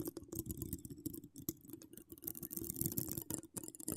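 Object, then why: Woven metal mesh microphone grille. Long pink acrylic nails decorated with donut charms and wire spirals scratch the rounded, hollow woven metal mesh grille of a large condenser microphone. Fast, dense scratching and clicking comes through with a boomy low thump on each stroke and brief bright rasps. Sharp taps stand out here and there.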